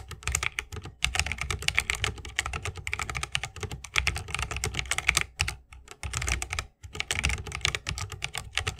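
Fingertips of both hands type fast on an RGB-lit 60% mechanical keyboard with plastic keycaps on Holy Panda tactile switches, set in a solid bamboo wooden case resting on a wrist rest. A dense, steady stream of short, bright clacks over a low thock rolls on with only brief pauses, each keystroke dying away almost instantly.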